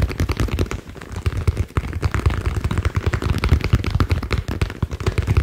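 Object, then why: Ball. A green ball is tapped rapidly in a steady stream of quick, short thuds. The taps are dull and low-pitched, with almost no high-end click and no ring after each hit.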